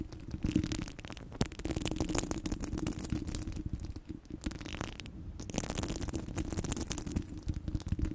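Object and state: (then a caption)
Metal mesh microphone grille. Long blue nails scratch and tap across the hollow steel mesh grille of a microphone head. The result is a dense, crackling stream of quick scrapes and taps, heavy in the low end with a steady hum-like band around 300 Hz and brief high hissy flares. Each sound is short, dry and dies away almost instantly.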